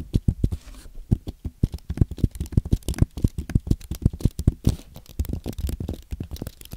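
Fingertips type on a compact white aluminium and plastic Apple keyboard. It gives a rapid run of short, soft, low clicks and taps with almost no ring, in an uneven typing rhythm.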